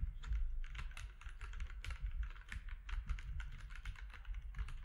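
Both hands type with their fingertips on a compact mechanical keyboard with plastic keycaps. The result is a steady, fast run of short, crisp clacks over a deep low rumble.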